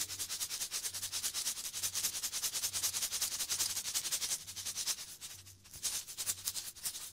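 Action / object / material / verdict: scrape / cardboard snack tube with foil lining / cardboard / none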